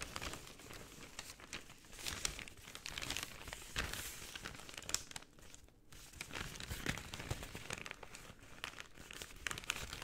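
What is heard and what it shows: An empty, medium-sized white paper bag is held upright and opened, then folded flat, and crinkled and rubbed with fingertips and long painted nails. The result is a quiet, steady stream of bright, dry crinkling and soft crackles, with brief louder rustles and a short lull near the middle.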